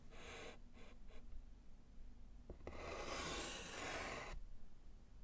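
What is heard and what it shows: A gloved hand writes GHOST with white chalk on a small, flat, solid wood-framed slate chalkboard, scratching the chalk across the slate. Three short bright scratching strokes come first, then two quick taps, then one long, loud rasping stroke, all over a steady low rumble.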